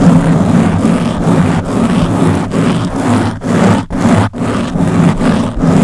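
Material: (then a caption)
Foam. Long blue-painted nails on both hands scratch a round black foam windscreen covering the head of a Blue Yeti microphone. The result is a steady, dense, low-heavy scratching rustle in quick strokes, with a couple of brief near-silent breaks partway through.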